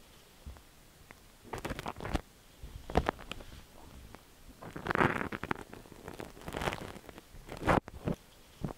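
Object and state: Silicone ear microphone.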